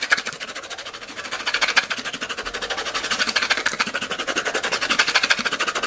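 Long glitter acrylic nails rapidly scratch and tap the white plastic screw lid of a small, clear, round plastic tub held in one hand and partly filled with pink and silver glitter. The result is a dense, continuous stream of crisp, bright clicks and scratchy taps with almost no low end. Each tick stops short, with no ring.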